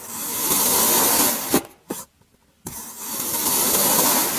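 A serrated metal blade slices repeatedly through a solid grey kinetic sand cylinder, cutting it into ridged layers with a steady, bright, crunchy scraping hiss. The sound breaks off midway for two short soft ticks and a moment of near silence. The crunchy cutting then resumes and builds again to the end.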